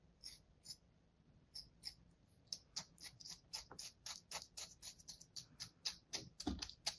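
A thin metal blade scores a palm-sized solid slab of kinetic sand, held on an open hand, in a crosshatch pattern. A quiet, rapid series of short, crisp, bright scraping cuts follows in an uneven rhythm, with one heavier scrape near the end over a faint low background hum.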